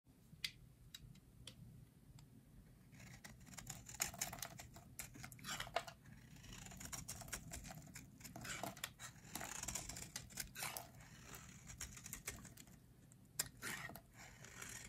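A metal utility blade scrapes and carves flakes off a solid, hand-sized, teal rectangular bar of dry soap held in hands with long red nails. Quick, dry, crisp scratches and crumbly shaving sounds come in bursts, bright and close, with short sharp ticks between longer scraping strokes.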